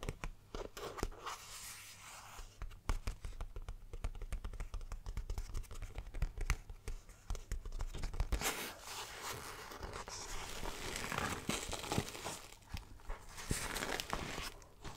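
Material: Polyester fabric.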